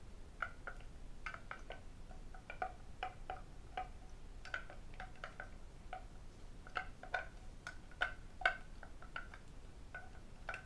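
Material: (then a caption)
Lacquered wood. A medium red lacquered wooden octagonal tray, hollow and empty, is tapped on its underside and rim with fingertips and metal rings. The result is a quiet, irregular stream of short, dry clicks with a ringing tone around 1.5 kHz and brief bright edges. The clicks are over a low background hiss.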